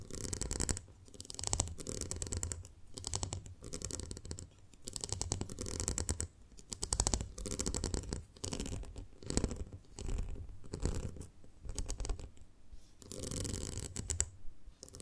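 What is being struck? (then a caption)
Ribbed glass jar filled with honey. Long manicured nails tap and scratch the outer ridged sides of a small, round, ribbed clear glass jar full of honey with an open top. Quick, dense bursts of dull, low tapping blend with bright, raspy scratching along the ridges. The bursts come in repeated waves separated by brief pauses.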